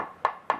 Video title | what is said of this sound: The Great Guitar Build Off 2022 Part 32 - It Looks Like A Guitar Again! | that's over the solid body of the guitar